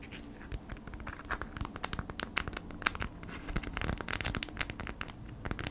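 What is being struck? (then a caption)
Folded beeswax-coated cotton food wrap scratched and tapped with fingernails. A folded beeswax-coated cotton food wrap with a honeycomb print is held in hands while long nails scratch and tap it. Dense, dry crinkling scratches mix with sharp, bright clicks from the taps, each ending almost instantly.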